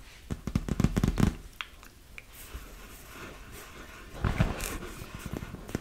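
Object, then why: Inflated vinyl beach ball. Long nails tap and scratch the surface of a large, hollow, inflated PVC vinyl beach ball. Quick, dull, low thumps come in bursts, separated by quieter stretches of soft scratching.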